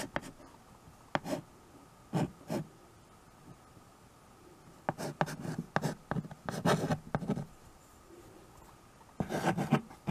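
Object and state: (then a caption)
Wood-framed chalkboard. White chalk held in the fingers writes on a small handheld chalkboard with a wooden frame, scratching across the board surface in short strokes. The soft, dry scrapes come in scattered bursts separated by quiet pauses, with a dense run of strokes in the middle and another at the end.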